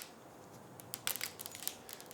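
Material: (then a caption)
Polymer. Orbeez polymer water beads that soaked in WD-40 for 30 days are dropped onto a table, making about nine sharp, bright clicks and ticks that scatter over the quiet background. The beads are still hard and absorbed nothing, since they only take up liquids that contain water.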